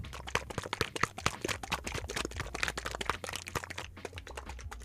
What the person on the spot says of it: You can hear the paint sloshing around, versus you don't hear any paint in a heavy body paint.